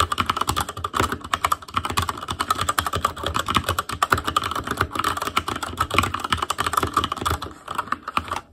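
Fingertips of both hands type rapidly on a full-size ASUS ROG Claymore Core mechanical keyboard with RGB backlight, plastic keycaps on Cherry MX Red switches, a metal plate and a hollow case. Dense, fast clacking keystrokes run steadily for about eight seconds, with short, crisp clicks carrying a mid-range tone, then taper off at the end.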